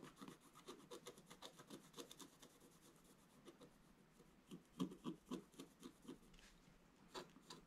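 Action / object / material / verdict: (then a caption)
scrape / black-coated scratch art card scraped with a wooden stylus / coated card / none. A wooden stylus scratches away the black coating of a flat scratch art card lying on a table, working in quick, repeated strokes. Each stroke is a short, dry, scratchy rasp with a bright hiss on top, coming in a fast, uneven rhythm. The sound stays quiet, with a few louder, sharper strokes toward the end.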